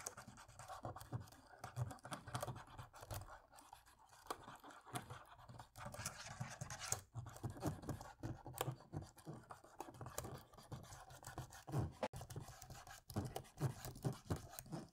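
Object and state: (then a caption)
Plastic laptop keyboard being scrubbed. A cotton swab scrubs between the dark plastic keys of a dirty laptop keyboard while a hand rests on the silver laptop base. The result is quiet, continuous scratchy rubbing, heavy in low thuds, broken by soft clicks and brief bright scrapes.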